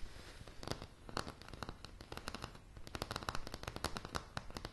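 Long polished nails tap rapidly and irregularly on a light, solid wooden plank floor at close range. Each tap is a short, dry click with a bright edge over a dull low thump, dying away almost instantly over a faint low background rumble.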